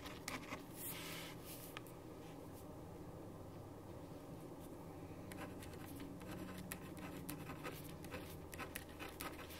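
A ballpoint pen tip held in the right hand scratches across a thin sheet of white printer paper lying flat on a wooden desk, while the left hand steadies the sheet. Soft, steady scratching strokes of writing continue throughout, with brief bright ticks over a low background hum.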